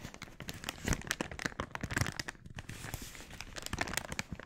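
An empty, glossy red, thin polyethylene mailer bag is bunched in both hands while fingertips squeeze, crinkle and stretch the plastic. Dense, dry crackling fills the clip with many short, sharp crinkles and snaps spreading from low to bright. The louder bursts come around the one- and two-second marks, with a brief lull just before the crinkling resumes.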